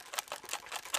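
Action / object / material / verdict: shake / small box with paper slips / paper / none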